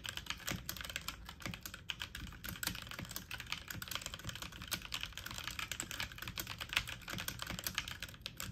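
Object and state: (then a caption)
Plastic mechanical computer keyboard. Fast typing on a full-size backlit mechanical keyboard with plastic keycaps, the keys pressed quickly with fingertips and medium-length nails. A dense, steady stream of short, bright plastic clicks and clacks runs throughout, each one dying away almost instantly.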